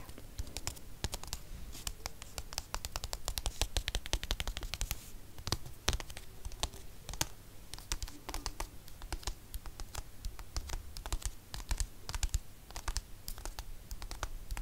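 Dozens of quick, crisp clicks and scratchy strokes come in a steady patter, bright and papery with almost no ring. Fingertips and nails are tapping and scratching the glossy paper jacket of a hardcover book, and the stiff board underneath keeps each hit short and dry.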